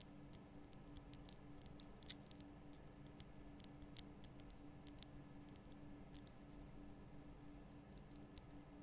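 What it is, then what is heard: Himalayan salt lamp. Long nails tap the sides of a large, lit pink Himalayan salt lamp, a solid, rough rock-salt crystal block. Quiet, sharp, bright ticks and clicks scatter irregularly over a steady low hum, each one dying away almost instantly.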